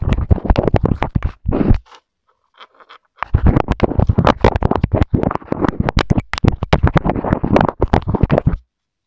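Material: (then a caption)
Plastic. A wooden colored pencil tip, held in the hand, scratches and rubs the plastic surface of a small white plastic inline microphone remote on a wired earphone cable taped to a wooden table. Dense, rapid scratchy strokes come through with a heavy, boomy low-end rumble. After a brief pause with only faint ticks, the rubbing resumes just as thick and continuous until it stops.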